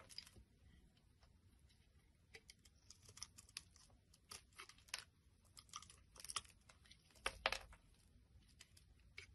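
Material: Glycerin soap.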